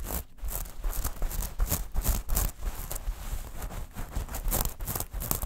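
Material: Metal mesh.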